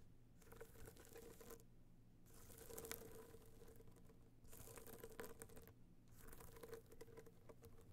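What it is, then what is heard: Hard-shell box clutch. Long nail tips tap and scratch across a small, rigid, hollow gold box clutch covered in metallic material with raised dots, resting on fur. Quick, dense clicks come in four bursts separated by short pauses. They carry a hollow tone near 500 Hz over a steady low hum, with bright, crisp edges on each tap.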